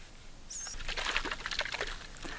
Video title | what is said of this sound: Bunch of Lovely Coconuts - Lee Stocking Island - 60 Sailing Saoirse | They call them shakers because the liquid in them still sloshes around. You shake them, you can hear it.